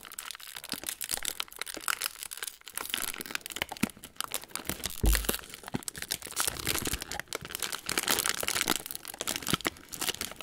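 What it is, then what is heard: Foil cracker sleeve crinkled. Fingertips of both hands crinkle and pull open the folded top of a hollow metallised plastic/foil Ritz cracker sleeve with crackers still inside. The result is a steady stream of bright, crisp crinkling with dense sharp crackles and short tearing rustles. One louder crack with a brief low thump stands out around the middle.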